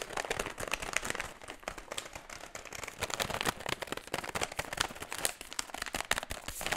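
Fingertips tap and scratch the creased surface of an empty metallized plastic foil chip bag held upright, then crinkle it. The result is dense, bright crackling and crinkling made of many short, sharp clicks with very little low end.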